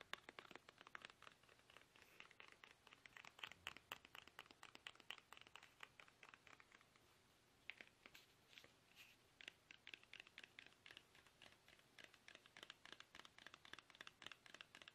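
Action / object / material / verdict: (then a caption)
tap / soft plastic toothpaste tube / plastic / none. Fingertips tap fast on a small, soft, hollow plastic toothpaste tube held upright in both hands. The result is a dense stream of quick, crisp, dry clicks and crinkly scratches, bright and high with almost no low end, each tap dying away at once. The stream breaks off briefly around the seven-second mark.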